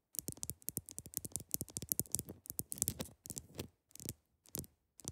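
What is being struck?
Large block of clear ice.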